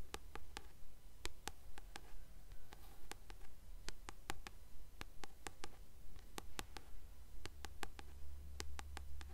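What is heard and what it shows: Long acrylic nails tap and scratch the glossy card back cover of a blue Percy Jackson paperback novel held upright. Quiet, sharp, bright clicks come in a fairly steady rhythm over soft scratching, with a constant low hum underneath.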